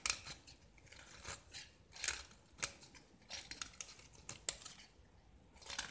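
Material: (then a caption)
Gypsum. A small, solid white gypsum block with a green-yellow painted surface, held in the hand, is carved and scraped with a metal utility knife blade. Quiet, bright, dry scratching strokes come in short bursts, broken by a few sharp crisp clicks as the blade bites and flakes the gypsum, with almost no low end.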